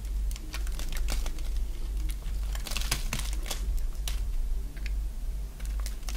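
A solid oval bar of dry white soap, held in the hand, is shaved into curls with a box-cutter blade. Quick, bright scraping and crisp cutting crackles come one after another over a steady low hum.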